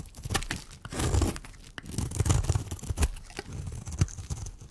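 A metal blade shaves curls off the face of a solid, dry, round pink striped bar of soap held in the hand. Dry, crackling scrapes come in uneven bursts, with soft low thuds and short bright ticks as the curls peel away.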